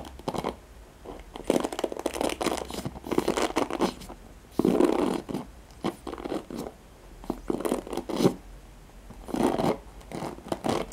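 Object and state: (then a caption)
Plastic hairbrush with nylon bristles. Fingertips and nails scratch and strum the nylon pin bristles of a handheld black oval plastic paddle hairbrush, whose bristles sit on a cushion. The result is bursts of dry, crackly rasping and quick flicking ticks, centered in the low-mid range, separated by short quiet gaps. A faint steady low hum runs underneath.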